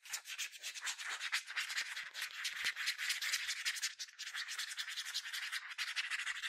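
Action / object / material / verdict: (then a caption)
scrape / plastic sunscreen bottle / plastic / none. Fingers and nails rapidly rub and scratch the surface of a yellow plastic sunscreen spray bottle with a translucent cap, partly filled with liquid. The result is a dense, continuous run of bright, dry scratching strokes, with almost no low end.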